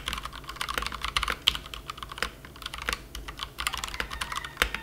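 A plastic compact mechanical keyboard resting on a felt mat is typed on continuously with the fingertips of both hands. The result is a dense stream of sharp, bright clicks and clacks that die away almost instantly, with little low end beneath them.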